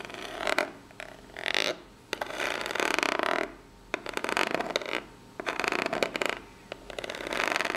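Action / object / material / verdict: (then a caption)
scrape / corrugated cardboard box / cardboard / none. Long pink natural nails scratch and tap the ribbed top of a small, hollow brown corrugated cardboard box. Bursts of dry, raspy scratching alternate with short pauses and sharp taps, bright and papery with almost no low end and a faint hollow ring.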